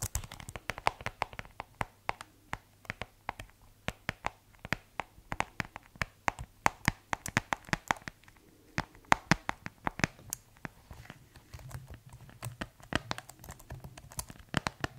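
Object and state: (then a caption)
Plastic keyboard case. Fingertips tap the keys and the plastic back panel of a white plastic keyboard case, making a steady stream of short, dry clicks with almost no ring. Each tap is bright and sharp, over a faint low hum.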